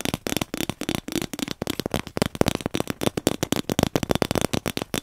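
A hollow, empty cardboard paper tube is held close to the mic and tapped with the fingertips. It gives a rapid run of short, dry, hollow pats with a low resonant tone around 215 Hz and almost no ring.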